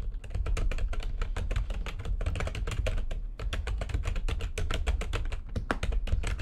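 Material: Plastic.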